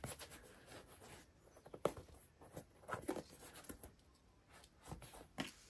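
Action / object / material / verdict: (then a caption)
scrape / rubber and foam shoe sole / rubber, foam / none. Fingertips and short nails scratch and rub the textured hexagon-pattern rubber/foam midsole and synthetic upper of a hollow, empty pink and black Adidas 1 Mid basketball shoe, held in both hands over its box while a second shoe rests untouched on the box. Quiet, dry scratching and rustling comes in short bursts, with a few sharper ticks standing out and no ring afterward.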